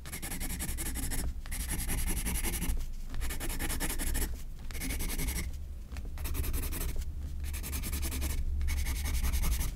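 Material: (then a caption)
Paper. A graphite pencil scratches quick, repeated hatching strokes across a white paper page of a spiral sketchbook. A steady, dry scratching rasp runs in bursts separated by brief pauses, over a low rumble.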